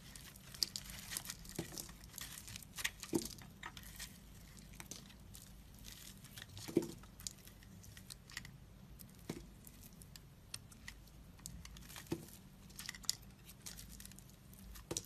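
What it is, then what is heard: Dry crumbly bar soap being carved. A solid, dry, crumbly pink-and-white bar soap, held in the fingers, is scraped and carved with a metal blade. The result is soft, bright crumbling and crinkling scrapes with scattered short, crisp clicks as pieces break away. A faint steady low hum sits underneath.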